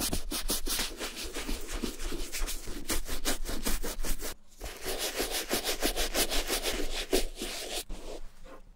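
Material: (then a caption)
Leather. A wooden-handled bristle brush with wet shampoo foam scrubs the leather toe and lining of a brown, hollow, empty Levi's vintage leather boot resting on a towel. Quick, uneven back-and-forth strokes make a bright, wet, rubbing scratch over a low rumble, with a short pause midway before the scrubbing resumes and fades.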